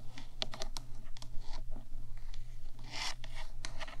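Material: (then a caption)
Metal. Long nails on both hands tap and scratch the top of a 3Dio microphone's black hollow metal body. Quick, bright clicks mix with dry, rasping scrapes over a steady low hum.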